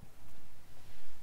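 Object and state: Nothing is struck.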